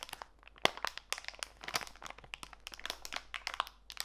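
A small clear plastic bag full of walnut pieces, with a green label, is squeezed and crinkled by fingertips with long white nails while held over a foam mat. Dense, bright crinkling and crunching crackles through the whole clip in quick, sharp bursts, with a louder crisp snap early on and almost no low end.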